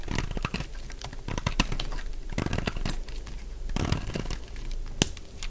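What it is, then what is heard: Dry soap bar. A solid, dry purple lavender soap bar, held in the hand, is cut into and shaved with a metal utility blade, making crunchy flakes. The result is a steady run of close, dry crunching and crinkling crackles, with several sharper bright cracks standing out.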